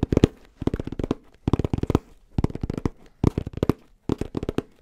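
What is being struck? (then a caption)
Fabric-covered hard-shell headphone case. Fingertips rapidly tap and scratch a black, rounded, fabric-covered hard-shell headphone case with a red detail. Six quick bursts of dry, clicky taps are heard, with a low-mid thump and crackly, bright edges. Each hit dies away almost instantly, leaving short gaps of quiet between the bursts.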